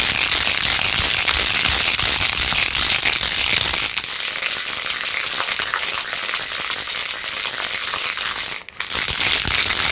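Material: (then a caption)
Plastic. Long acrylic nails scratch fast across rows of pink faux-pearl beads on a small hand-held plastic phone case with a rose-gold plastic rim. The result is a dense, continuous, bright rattling and crackling scratch with almost no low end. It pauses briefly near the end before resuming.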